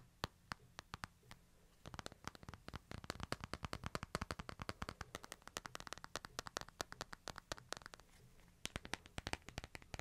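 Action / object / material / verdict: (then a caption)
tap / smartphone with glass screen and frame / glass / none. Fingertips tap the glass screen and frame of a smartphone held flat and on edge, producing sharp, dry clicks that die away almost instantly. A few spaced taps give way to a dense, rapid flurry from about two to eight seconds, then slow again to scattered taps. A faint low hum sits underneath during the quieter stretches.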